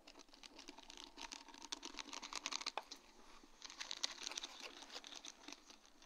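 A sheet of large round faceted acrylic rhinestones on a plastic mesh backing is tapped with long dark-painted nail tips. The result is a steady stream of light, bright, clicky taps with some crinkly scratching. Each tap is short and dry with almost no low end.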